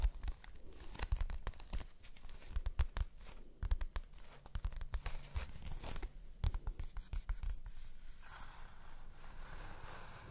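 Fingertips and long nails scratch and tap across the glossy surface of a large, flat, printed cardboard advent calendar box. Dry, papery scratches mix with quick, sharp taps that die away almost at once, and the sound is weighted toward a dull low thump. Near the end, the taps give way to a softer, steadier rubbing scratch.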